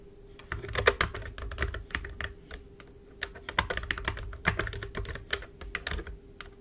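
Rapid typing on a black plastic wireless computer keyboard resting on a desk, tapped with long pointed acrylic nails and fingertips. Quick, dry clicks come in bursts with short pauses between them, over a faint steady hum.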